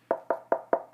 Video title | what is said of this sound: Savage Arms A22 22 WMR 22 Magnum Semi Auto Rifle: Shop Review (field test to follow) | it's it's Hollow it sounds kind of cheap and plasticky